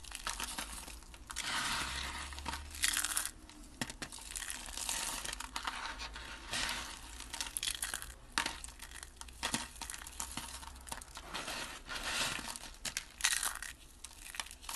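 A heap of pink dry soap flakes and curls, solid and brittle, is scooped up from a table and crushed in the fist with the fingers. Dense, dry crunching and crinkling crackles in rapid bursts, bright and hissy with little low end, with sharp snaps that stop almost instantly.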